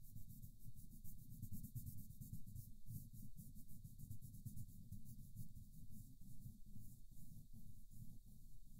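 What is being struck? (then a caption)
Wooden colored pencil rubbing on a thin paper coloring page. A wooden colored pencil held in the fingertips rubs and scratches across a thin paper mandala coloring book page lying flat on a cushioned stool. Quiet, steady back-and-forth strokes blend a soft low rumble with a bright, papery hiss, repeating at a loose rhythm for the whole clip.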